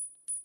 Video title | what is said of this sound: Collab w/@Stacker Factor #money #gold #silver | the simple ping test, Wow. you can tell that's not silver